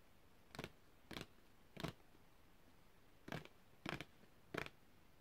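A long, thin printed cardboard packaging card is held upright and tapped with long red-painted fingernails. Six short, dry, papery taps come at an uneven pace, with a longer pause midway, over a faint steady hiss.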